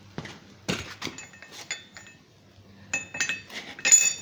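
A hollow coiled steel ball, forged from 3/16 inch rod, is dropped on the floor and bounces with bright, metallic clinks and short rings. Six separate impacts are heard, each decaying quickly, with the last one the loudest.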